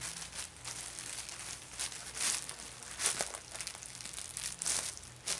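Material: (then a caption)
Plastic. A thin, empty, white printed plastic GameStop shopping bag is folded and flattened by fingertips with painted nails on a bedspread, with an orange Ulta bag lying untouched nearby. Bright, crisp crinkling runs throughout, rising into sharper, louder crackling bursts as the plastic is pressed flat. There is almost no low end and no lingering ring.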